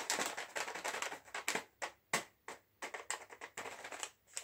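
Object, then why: Metallized plastic chips packet. A sealed, full and puffed green metallized plastic chips bag is tapped and flicked with fingernails. Quick bright crinkling taps come in clusters with short pauses between them, each with a dry, papery rustle and almost no low end.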